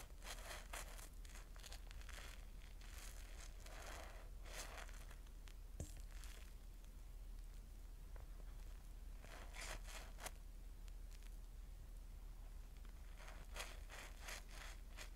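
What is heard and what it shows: A yellow cellulose sponge covered in soap foam is squeezed and rubbed with both hands close to the mic, over a steel bowl of suds. Wet, bubbly crackling and squishing bursts come in irregular clusters over a steady low hum.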